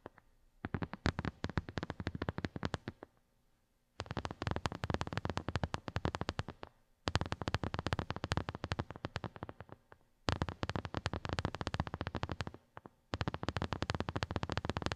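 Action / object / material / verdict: tap / silicone phone case / silicone / none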